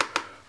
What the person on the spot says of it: frame that's got the glass actually built in there you can hear that when I tap it